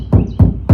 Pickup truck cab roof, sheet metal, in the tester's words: very hollow sounding. It's just some sheet metal